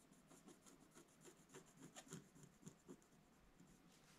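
A pointed wooden stylus scratches lines into a black-coated scratch-art paper page in a bound book. The result is a quiet, steady, irregular run of dry scratching strokes, each a short rasp with a low body and a bright, hissy edge.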